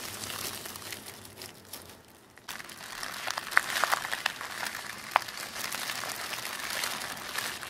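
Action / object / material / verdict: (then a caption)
scrape / thin tissue paper sheet / paper / none. A thin sheet of black tissue paper is rubbed and crumpled between the fingers of both hands. Soft, bright crinkling fades to near silence around two seconds, then returns as denser rustling with a few sharp crackles standing out.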